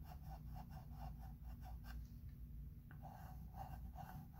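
A chalk pencil held in the fingertips is rubbed and scratched across a medium flat, solid chalkboard in a thin wooden frame while writing letters. Soft, rhythmic scratching strokes repeat over a steady low rumble, with a brief pause before the strokes resume.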